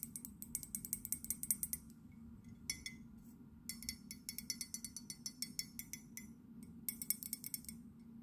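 Long nails tap rapidly on the outer wall of an empty white ceramic London souvenir mug with a blue handle, held in the hands. Quick runs of sharp, bright clicks come in three bursts with short pauses between them. A steady low hum sits underneath throughout.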